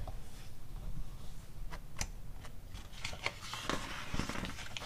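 Long acrylic nails tap on the pages of an open glossy paper catalog magazine lying on a rug, with a page turned partway through. Scattered sharp, bright ticks and soft papery rustles sit over a low, steady background rumble.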